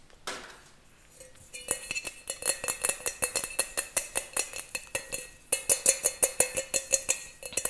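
Fingers and nails tap and scratch the outer metal surface of a small, round, hollow, empty brass pot (a lota) held in both hands. A brief scrape opens the clip, followed by about thirty quick, uneven taps that each give a bright metallic ping with a faint low ring near 500 Hz. The taps pause briefly around the five-second mark, then return louder.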